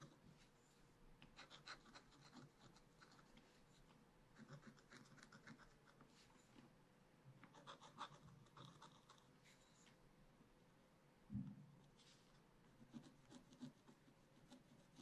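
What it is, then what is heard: Scratch-art paper being scratched. A wooden stylus held in the fingers scratches lines into a black wax-coated scratch-art paper page in a flat, solid spiral-bound pad. Quiet, dry scratching strokes come in short bursts of bright, raspy texture over a faint steady tone, with one duller, louder thump partway through.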